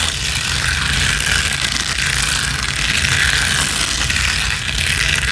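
Long acrylic nails of both hands scratch fast and hard across a flat gold rhinestone mesh sheet. The result is a continuous, dense, bright scratching and rattling texture at a steady level, with a rough low rumble underneath and no clear pauses.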